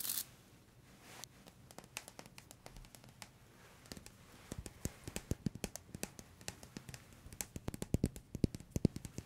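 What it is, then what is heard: Plastic dish brush. Fingertips scratch and flick the stiff plastic bristles of a blue, long-handled plastic dish brush held in front of the microphones. Dozens of short, dry clicks and ticks come in an irregular stream, sparse and quiet at first, then denser and louder after about four and a half seconds.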